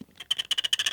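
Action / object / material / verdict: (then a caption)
scrape / titanium phone frame / titanium / none. The titanium top of a Galaxy S25 Ultra frame is scraped in four short strokes. It gives a dull, soft scratch, high-pitched around 3 kHz with no low end. The titanium sounds duller and softer than the phone's aluminum buttons.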